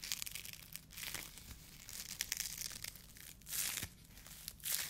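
A white polyethylene foam mesh sleeve, the kind used as a fruit protection net, is crumpled and rubbed between the fingertips of both hands. The result is a quiet, bright, dry crinkling and crackling, with several louder rustling bursts over a constant soft rasp.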